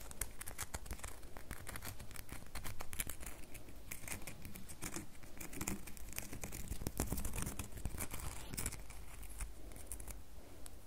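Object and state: Bar of soap tapped and scratched with nails.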